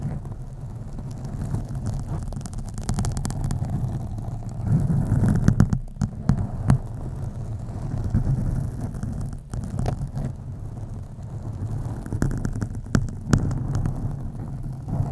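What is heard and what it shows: A black foam windscreen on a USB microphone is scratched with long acrylic nails using both hands. The result is a continuous deep, muffled rumbling rustle, with occasional sharper scratchy bursts cutting through.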